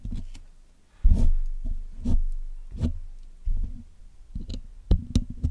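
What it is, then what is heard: Metal mesh microphone grille being scraped. The steel tip of a dental pick scrapes and picks at the black hollow metal wire mesh grille of a Blue Yeti microphone while the other hand steadies the mic. Heard close up, it makes a series of dull, thumping scrapes and taps that are almost all deep low-end rumble with only faint brightness. Each burst fades quickly into near silence.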